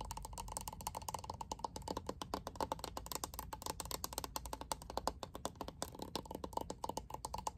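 Long nails scratch and tap the back and bristles of a lilac plastic hairbrush with a glitter-filled back panel. The result is a quiet, rapid stream of dry plastic clicks and scrapes with a slight ring around 900 Hz that dies away almost instantly.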